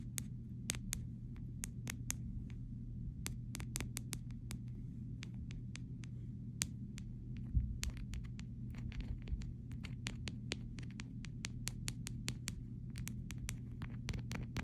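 Someone taps a fingernail and fingertip along the side rail of a clear plastic phone case with charms on it. The result is a steady stream of sharp, bright, very short clicks at an irregular pace. A constant low hum around 62 Hz runs underneath.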